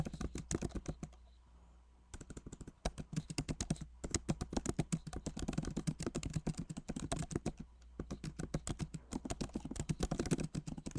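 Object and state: Laptop keyboard typing.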